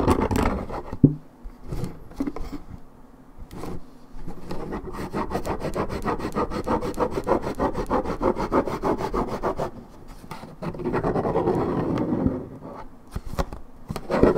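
Long red nails scratch the side panel of a hollow Minute Maid 1.75 L coated paperboard orange juice carton, fill unknown. Bursts of fast, dry, rasping scratches with a low-mid body are broken by short quieter pauses, and each stroke stops dead with no ring.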